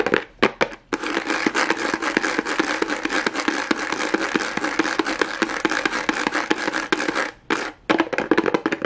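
Long acrylic nails tap and scratch quickly over a pink plastic rhinestone mesh strip on a small hollow cardboard box, close to the mic. A dense, fast stream of sharp, bright clicks and crackly scratching runs almost continuously, with brief pauses near the start and around seven and a half seconds.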